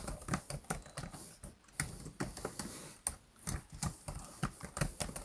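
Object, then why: Plastic laptop keyboard keys. Both hands type and tap with their fingertips on the black plastic chiclet keys of a laptop keyboard. A fast, irregular run of short, dry clicks follows, each with a soft low thump and a bright tick that dies away almost instantly.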